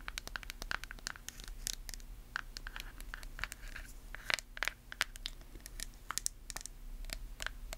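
Long nails scratch the label and tap the lid of a small white plastic face-mask jar. A quiet, rapid run of sharp, bright clicks and taps mixes with short scratchy, crinkling strokes over a faint steady low hum.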